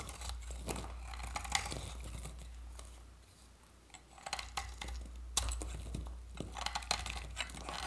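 A metal utility-knife blade scrapes shavings off a solid oval bar of dry orange soap held in the hand. Quick, crisp scraping strokes crackle with a bright, gritty texture over a steady low hum. The scraping briefly softens midway, then resumes in sharper bursts.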